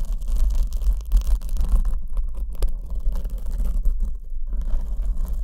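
Long acrylic nails scratch a soft, porous black foam windscreen over the left condenser microphone while the other hand holds the back of the foam. The result is a continuous, dense, muffled scratching with a deep rumbling low end and a steady low hum, rising and falling in loudness throughout.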